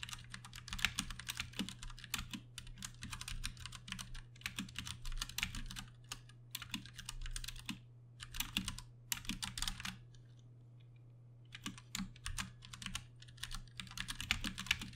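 Fingertips of both hands type continuously on a Ducky One 2 Mini, a compact 60% RGB-backlit mechanical keyboard with Cherry MX Brown switches and a plastic case and keycaps. Dense bursts of short, bright clacks come in runs with a few brief pauses, and a near-silent gap around 10 to 11.5 seconds. A steady low hum sits underneath throughout.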